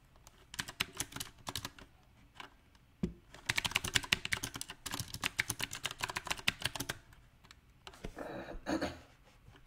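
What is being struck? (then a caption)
Mechanical keyboard with round plastic keycaps on a metal frame. Fingertips type on a backlit mechanical keyboard with round plastic typewriter-style keycaps on a silver metal frame, tapping the keycaps and the spacebar. Bright, sharp clicks come in irregular bursts with short pauses in between. A softer, smeared run of taps closes the clip.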